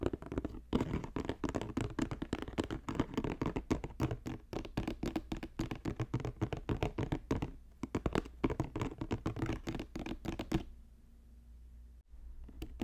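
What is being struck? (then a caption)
Woven basket. Fingertips tap rapidly on a woven basket, making a dense run of short, dull, dry taps with a slight scratchy texture and almost no ring. The tapping stops abruptly near the end, leaving only a faint low hum.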